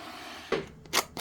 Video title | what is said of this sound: 집에서 만드는 손반죽 사워도우 피자🍕 | 엣지의 바삭한 소리 들리시나요? 근데 바질 올리는 사이 금방 부드러워졌네요